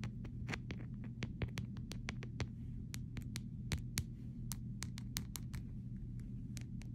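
Short fingernails tap the back and edges of an empty clear plastic phone case, making quick, irregular, dry clicks that are bright and die away almost instantly. A steady low hum runs underneath the whole time.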